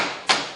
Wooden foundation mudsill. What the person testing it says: If we start banging on it a little bit though, that sounds pretty solid.